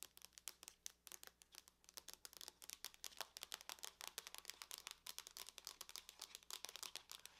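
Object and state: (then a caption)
Aluminum laptop lid. Long nails tap quickly on the lid of a closed silver aluminum laptop, making a fast, uneven stream of sharp, dry clicks. The taps are bright and thin with no low end, and each dies away almost instantly.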